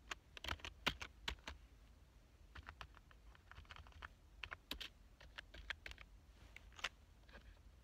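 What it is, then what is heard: Plastic computer keyboard being typed on. Fingertips type on a black plastic full-size computer keyboard, producing bursts of quick, bright key clicks with short pauses between runs. Each click is sharp and dies away almost instantly, over a faint steady low rumble.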